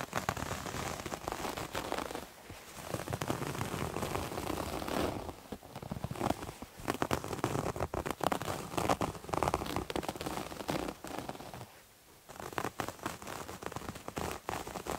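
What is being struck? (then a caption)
Terry cloth towel. Fingernails scratch a multicolored striped terry cloth towel held close to the mic, making a dense, crackly, rain-like rustle. The scratching runs in bursts, with short quiet pauses near 2, 5.5 and 12 seconds.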